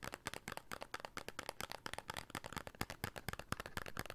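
A small, hollow, red printed paperboard soap box is held in the hands and tapped with the fingertips on its faces and edges. About two dozen quick, dry, hollow taps follow one another rapidly, each stopping almost instantly with a soft papery rattle.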